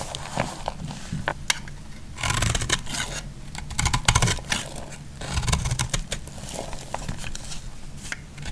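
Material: Soap.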